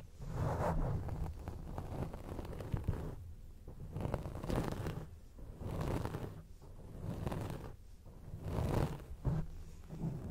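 Long acrylic nails scratch a round grey foam windscreen on a microphone, producing a muffled, bassy rubbing and crackling rumble. The scratching comes in repeated swells that rise and fade without stopping, with almost no bright content.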